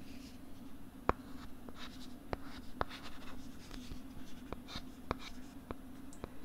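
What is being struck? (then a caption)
Plastic LCD writing tablet with stylus. A stylus writes and scratches across a pink plastic LCD writing tablet held close to the right side of the microphone, producing soft, dry scraping strokes. Short, sharp ticks of the stylus tip break through at intervals over a faint, steady low hum.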